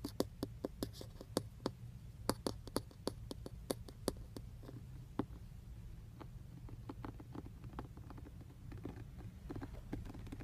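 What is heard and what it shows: Fingertips and short nails tap and scratch the textured black plastic centre airbag cover of a car steering wheel, a hollow cover over a padded module, just below the emblem. Quiet, sharp, dry clicks ring out over a steady low hum, coming quickly in the first half before thinning into softer scratches and lighter taps.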